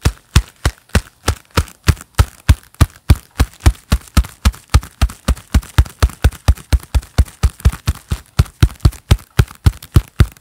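A pair of black leather gloves is worn on both hands, and the gloved hands clap and rub together close to the microphone. The result is a steady, evenly spaced run of dull, deep thumping claps with short, dry decays and faint leathery rubbing between them.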